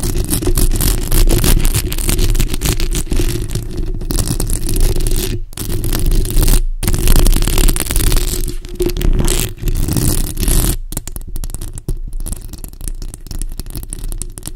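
A bare, hollow black metal mesh microphone grille is scratched and tapped with long acrylic nails. The result is a dense, continuous rumbling scrape with crackly rubbing and quick irregular taps, heavy in the low end. A few brief near-silent gaps break the texture.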